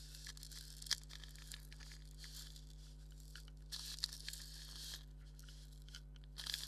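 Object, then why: Leather maraca. Fingernails scratch across a hollow black leather maraca held in the hand, making quiet, dry, bright rasping and crinkling scrapes in irregular bursts, with a few sharper scratches. A steady low hum runs underneath throughout.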